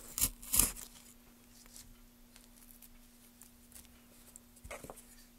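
A gloved hand works a small gouge through the grooved surface of a solid pale wood block, scraping and carving. Two sharp, bright scraping bursts open the clip, followed by faint, sparse scratches and a short cluster of quicker scrapes near the end. A low, steady hum runs underneath throughout.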